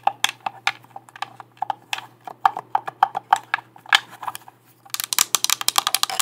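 Long black nails tap the shell of a hollow, hand-sized, light blue plastic Xbox controller and click its buttons, making a string of sharp, dry plastic ticks with a hollow mid-pitched tone. After a brief pause the taps return as a faster, brighter burst of clicks, all over a faint steady low hum.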